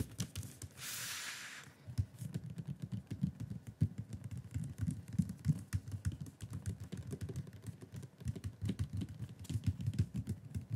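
Fingertips of both hands tap and drum on the lid of a flat, hollow, dark blue Elgato Wave 3 cardboard product box resting on a wooden desk. The result is a dense stream of soft, low, hollow thumps that die away quickly, with a brief bright hiss near the start.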